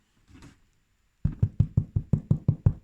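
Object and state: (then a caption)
Bread loaf sounding hollow (baked through). A homemade bread loaf is knocked nine times in quick, even succession, each knock a short, dull, low thud with almost no ring. The loaf sounds hollow, meaning it is baked through.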